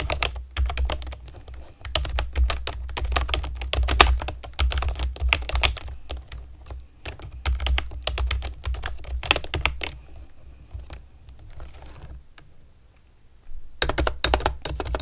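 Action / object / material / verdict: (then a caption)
tap / plastic keyboard with round keycaps / plastic / none. Long nails type quickly on a pastel plastic keyboard with round keycaps, making dense, bright clicks and clacks over a steady low hum. The typing thins out to sparse taps for a few seconds near the end, then resumes in a brief fast burst.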